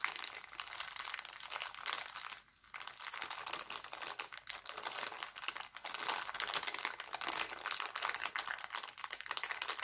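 Hands crinkle a thin, clear, empty heart-printed cellophane bag and squeeze it into a ball. A dense, bright crackling runs throughout, pausing briefly near the 2.5-second mark before resuming and growing slightly louder.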